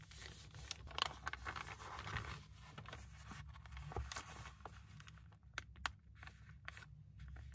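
An empty brown kraft paper bag, about book-page size, lies flat on a wooden desk while both hands fold, crease and press it flat with their fingertips, rubbing and crinkling the paper. Quiet, dense rustling and crinkling is broken by sharp, bright crackles, over a steady low hum throughout.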